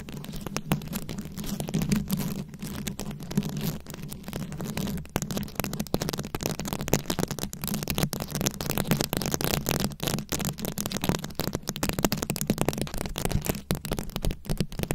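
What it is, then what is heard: Rhinestone-covered microphone scratched with nails. Very long acrylic nails scratch over a round, fist-sized microphone head covered in plastic rhinestones and beads. The result is a dense, continuous stream of rapid scratchy clicks and bright crackles over a steady low hum.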